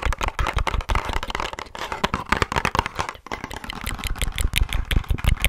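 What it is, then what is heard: Hollow cardboard box. Long nails tap and scratch a small, hollow pink printed cardboard box labelled "Wonder Rose" held close to the microphone. The result is a quick, irregular run of dry, papery clicks with bright scratchy edges and a dull hollow thump underneath, with a short pause midway.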